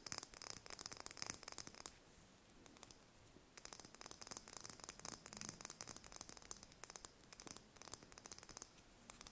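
A small whole brown hen's egg, held between fingers, is tapped and scratched with long painted fingernails. Dense bursts of quick, bright clicks and scrapes run from the start, pause into near quiet from about 2 to 3.5 seconds, then resume steadily to the end.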